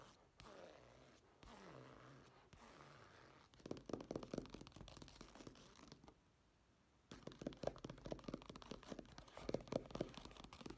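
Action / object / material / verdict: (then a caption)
scrape / woven fabric clutch bag / fabric / none. Fingertips and nails scratch and tap the textured surface of a black woven fabric clutch bag lying on a table. Soft, papery scratching comes in short strokes at first, then gives way to quick runs of dull, close taps with a low-mid knock. A brief quiet pause separates two bursts of tapping mixed with light scratching.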